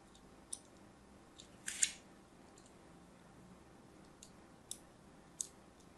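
A thin craft blade scores diagonal lines into a palm-sized, solid rectangular bar of pink-and-white striped soap held in the hand. Short, crisp, high-pitched scratching cuts stand out over a faint low background, with one longer scrape near the two-second mark.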